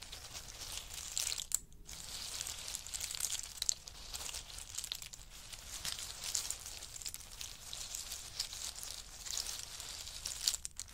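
Fingertips and nails dig and rake through a large pile of hard in-shell pistachios resting on a fur mat. The result is a steady, dense stream of bright, crisp shell clicking and crunching, mostly high in tone, with a brief lull near the start.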